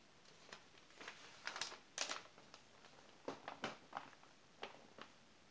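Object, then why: Glossy paper magazine. A palm and fingers rub over the glossy page of an open glossy paper magazine, making quiet, bright, crisp swishes and crinkles with little low end. The page is then turned and flattened.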